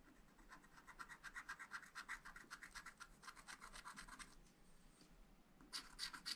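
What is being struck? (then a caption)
Wax-coated scratch-art paper scratched with a wooden stylus. A wooden stylus scratches lines into the black coating of a flat, wax-coated scratch-art paper pad, around the flowers. Quick, dry, bright scraping strokes repeat at about four per second, then fade into a brief quieter stretch with a faint high tone. A few louder, sharper scratches close the clip.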